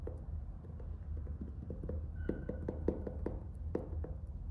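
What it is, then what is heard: Faux-leather hardcover notebook. A medium orange faux-leather hardcover notebook, closed and still in its plastic shrink wrap with a paper label band, is held in one hand while the fingertips of the other hand tap and scratch the cover and band. Quiet, dull, low-heavy taps with very short decay come at an irregular pace over a soft scratching rustle, with a few slightly sharper clicks toward the middle.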